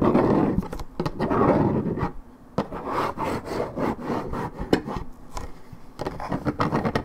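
Long red nails scratch and tap along the top edge of a hollow Minute Maid 1.75 L coated paperboard juice carton (fill unknown). Dense, dull rasping scrapes alternate with sharp, dry taps and brief quieter gaps. The sound is mostly low and mid-range, with little brightness.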